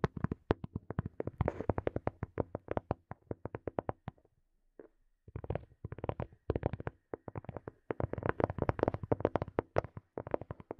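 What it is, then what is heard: Plastic earphone case tapped. Fingernails tap and scratch a small, hollow black plastic earphone case held close to the mic, making rapid, dry clicking taps with a hollow, boxy tone. The taps come in quick bursts, pause briefly near the middle with a faint scratch, then return in denser clusters.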